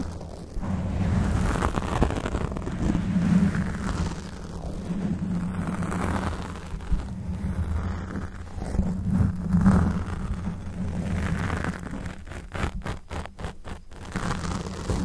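Fingernails of both hands scratch and rub a black foam windscreen on a Blue Yeti microphone, with the face kept at a distance. The result is a dense, low, rumbling rustle with a steady hum near 200 Hz, swelling and easing throughout. Quick choppy dropouts break it up near the end.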